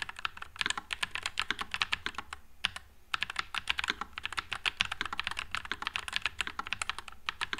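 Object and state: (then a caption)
Mechanical keyboard with plastic keycaps. A white low-profile NuPhy Air96 mechanical keyboard with Wisteria switches and plastic keycaps is typed on continuously with the fingertips. It gives rapid, bright, short clacks with a brief pause about halfway through, and each keystroke dies away almost instantly.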